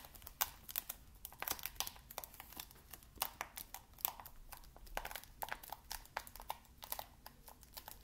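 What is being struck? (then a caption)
Plastic game case in cellophane wrap. A cellophane-wrapped plastic Xbox game case, shrink-wrapped and held upright in both hands, is tapped and scratched along its edges and cover by fingertips, crinkling the film. A steady run of quick, dry taps and bright crackles sounds close and quiet, each click dying away almost at once over a faint low background.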